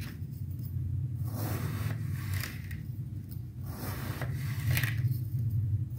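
A purple knife slices through a solid, pyramid-shaped block of packed multicolored kinetic sand resting on a white surface. Crunchy cutting and scraping strokes rise in bright bursts over a steady low rumble. The block is cut into slices.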